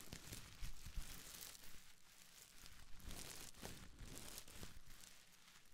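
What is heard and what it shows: A small bundle of clear plastic bubble wrap is squeezed and crinkled in the hands close to the mic, with fingers and long nails working over it. It makes a steady, soft crackling and rustling texture with bright crinkly bursts over a low handling rumble, staying quiet throughout.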